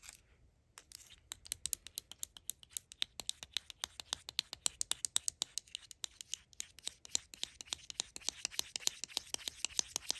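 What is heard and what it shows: A tiny Mini Brands Lunchables pizza pack, a flat, hollow, rigid plastic tray with a printed label top a few centimetres across, is held in the hand and tapped and scratched with long acrylic nails. A quick, steady stream of crisp, bright clicks follows, each dying away at once, with light scratching between the taps.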